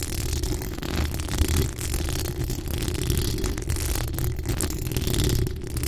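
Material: Metal mesh.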